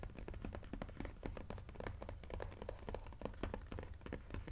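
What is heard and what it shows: Fingertips tap rapidly along the side edge of a cardboard sushi jigsaw puzzle box held in both hands. The result is a quick, steady stream of short, dull, low-pitched taps with little brightness and almost no ring.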